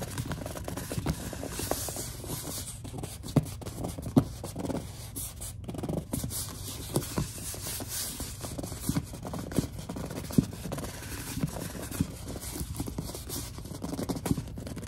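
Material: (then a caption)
Plastic. A large white plastic Suave lotion bottle is held in both hands while long dark nails and fingertips grip, rub and tap it. The result is a steady, low, dull rubbing and scratching texture scattered with frequent soft clicks and a few sharper taps that cut off almost instantly.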